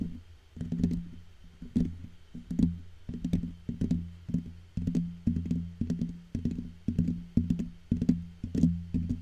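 Fingertips and short painted nails of both hands tap and scratch the hollow black metal mesh grille of a large microphone. The result is a rhythmic run of soft, dull, low-pitched thumps in quick clusters with a faint scratchy edge, each dying away almost instantly over a steady low hum.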